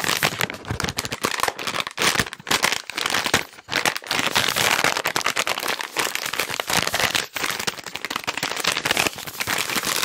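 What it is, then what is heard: Plastic wet wipes pack. A hand-sized, green and white soft plastic wet wipes pack is crinkled and tapped quickly with fingertips. The result is a dense, bright crackling and rustling that runs almost nonstop, with only a few brief dips, and very little low end.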